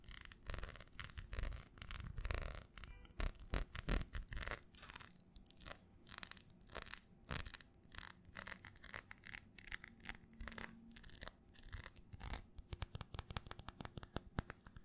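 A small square red textured glass perfume bottle with a black cap is held close and tapped and scratched with long nails. The result is a dense run of quick, sharp clicks and scraping strokes with very short ring, full of low thumping body and bright, crisp edges.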